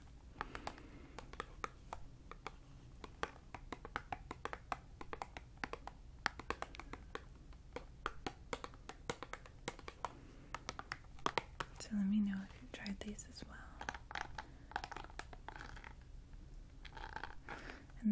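Long dark-painted nails tap and scratch the faces of a small, pink, printed Choco Puff cardboard snack box held up in one hand; the box is hollow and likely still full. Many quick, dry taps with almost no ring come in a steady patter, with a louder scraping rustle partway through. The sound stays soft, close and crisp.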